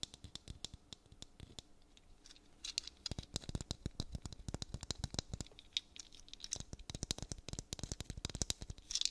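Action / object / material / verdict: tap / dried gourd maraca in a bead net / gourd / none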